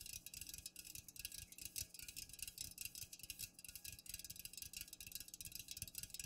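Long nails tap rapidly on the sides and top of an unopened, full Pepsi aluminum can standing upright. The quiet, fast taps are bright and high-pitched, each dying away almost at once, over a faint low rumble.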